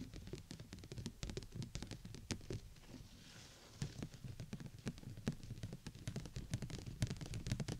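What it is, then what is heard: Clear plastic dome umbrella. Long nails tap with both hands on the upper dome of a large, hollow, clear plastic umbrella canopy held over the mic. The result is a rapid, irregular patter of sharp clicks over a low, hollow thump, like rain on a surface. The taps ease into a brief softer, hissy lull near the middle before resuming densely.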